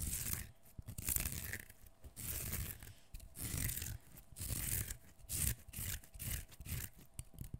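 Fingernails scratch and tear strips of skin off a whole, partly peeled, solid fresh cucumber held in one hand. Bursts of bright, scratchy tearing and rubbing come in quick succession, each with a low, dull thud underneath. Brief quiet gaps separate them.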